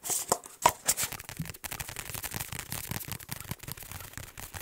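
A large black padded fabric or neoprene ASUS laptop sleeve, held flat against the mic, is tapped and scratched fast with fingertips and nails. Bright, hissy scratches open the clip, then a rapid, uneven stream of soft muffled taps and rustling scrapes follows. Each tap dies away almost at once.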